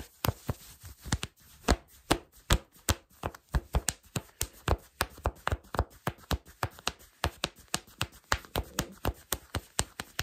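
Fingertips with short nails scratch black cotton fleece sweatpants worn on the body, just below the gathered elastic waistband. About 35 quick, dry scratches follow one another in a steady rhythm, each a brief brushy rasp with a soft low thump and a bright, hissy top that stops almost instantly.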